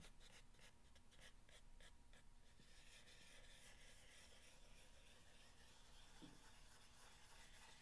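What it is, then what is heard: Corrugated cardboard box being scratched. Fingernails scratch and rub across the top surface of a long, hollow corrugated cardboard box. Quick, bright rasping strokes come first, then settle into a softer, steady rubbing over a low, constant hum, all at a quiet level.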